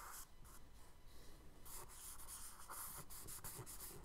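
A charcoal stick held in the fingers scratches wave strokes on the lower left of a tan kraft paper sketchbook page. Quiet, dry, papery rubbing and scratching comes in short bright bursts. The strokes grow denser and more textured in the second half, over a faint low rumble.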